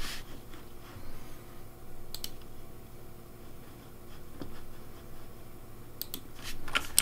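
Fingertips type on the keycaps of a pink plastic Razer Deathadder V3 Pink mechanical keyboard with blue backlight. Soft, quiet clacks and brief bright clicks ride over a steady low hum, each keystroke dying away almost instantly.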